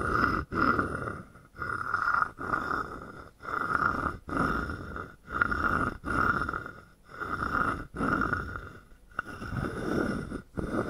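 A wooden stick is scraped and tapped along the ridged back of a palm-sized, hollow carved wooden frog guiro. It makes repeated raspy, croaking rasps, each a burst of rapid clicks with a hollow, woody tone near 1.4 kHz. The strokes come in a steady, unhurried rhythm separated by brief silent gaps.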